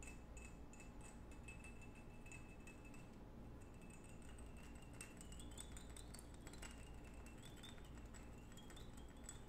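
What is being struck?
Small glass perfume bottle.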